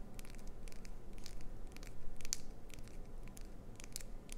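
Long pointed acrylic nails scratch and tap the face of a clear green solid glycerin soap bar with a clownfish design, held in the hands. Short, bright, dry clicks and scratchy ticks come in quick, uneven bursts over a steady low rumble. Each tick stops almost at once with no ring.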